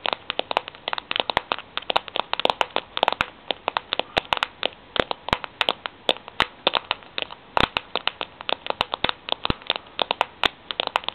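Long fingernails tap and scratch the bare, ridged steel end of a Milo tin held in both hands. Dozens of quick, sharp, bright clicks come in an uneven stream, each dying out almost at once with very little low end, while faint scratching fills the gaps.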